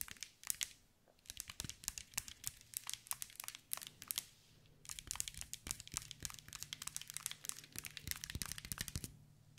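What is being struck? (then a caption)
Glass mosaic ball. Long white nails tap and scratch a hand-sized green mirror and glass mosaic ball, producing rapid, bright, crisp clicks and crinkly scraping. The sound comes in two dense bursts separated by a short pause, with each tick dying away almost instantly over a faint low hum.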